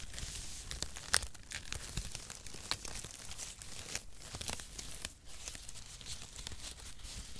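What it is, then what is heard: Cardboard shreds being crumpled. A handful of brown cardboard packaging shred strips is crumpled and rubbed between bare fingers and palms close to the microphone. It makes a steady, dense crinkling and crackling with a papery, tearing-like texture that stays bright and hissy, plus a low rumble underneath. A sharp, louder crackle stands out near the one-second mark, and the rustling eases briefly around five seconds before carrying on.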